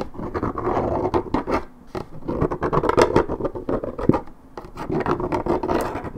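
Long red nails scratch and rasp the top and edge of a hollow, coated paperboard Minute Maid orange juice carton. The result is a dense run of dry, papery scraping strokes, mostly in the low-mid range with little brightness. The strokes come in quick bursts with brief quieter gaps in between.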